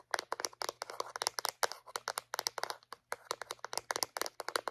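A small white hollow plastic Reach dental floss dispenser, held in one hand, is tapped and clicked with long painted acrylic nails. The result is a rapid, irregular run of sharp, dry, bright plastic clicks with almost no ring, over a faint steady low hum.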